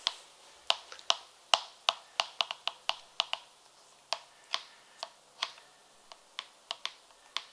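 An empty, hollow purple leather high heel pump, held close, is tapped quickly with long red nails on its outer side and heel. About 21 sharp, bright, dry clicks land at an uneven pace, each dying away almost instantly with no low end.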